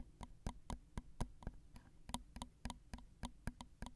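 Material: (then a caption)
Metal. Long acrylic nails tap quickly on the two small, hollow, crossed metal X/Y microphone capsules of a Zoom recorder. About fifteen quiet, crisp ticks sound in an uneven rhythm, each a very short click with a dull low thump beneath a bright edge. The sound dies away almost instantly.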